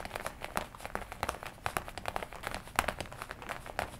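Long nails scratch and squeeze the chest panels of a worn black and red leather jacket, crinkling the leather. A steady run of dry, close crinkles and sharp scratchy ticks, bright and mid-pitched, each cutting off almost at once, with no break across the clip.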